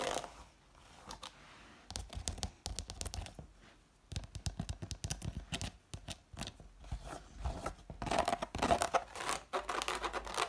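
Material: Sisal.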